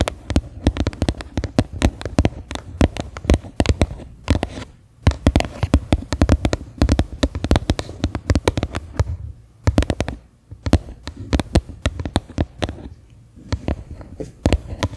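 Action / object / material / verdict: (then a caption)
tap / plastic bowl / plastic / none. Fingernails tap quickly on the flat bottom of a medium, faceted white plastic bowl that is turned upside down, hollow and empty. The taps come in dense, rapid bursts with brief pauses. Each one is a short, dry, hollow knock with a low thump and almost no ring.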